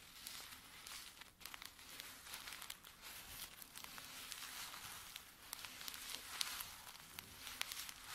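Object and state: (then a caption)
Paper tea sachets crinkled. Curled fingertips and nails scratch and crinkle folded filter-paper tea sachets filled with dry tea, lying flat on a table. A steady, quiet, bright crinkling and rustling with sharp little crackles runs throughout, with almost no low end.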